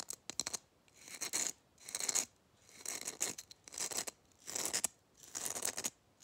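Fingernails quickly scratch and tap a gold glitter-coated Christmas bauble held close to the microphone. The result is bursts of dry, bright, high rasping with sharp clicks at the start, in uneven rhythm separated by brief quiet gaps.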